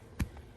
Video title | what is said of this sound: How To Bury Wires | you hear a little thumping noise that's the pipe and you know that you're getting it down really well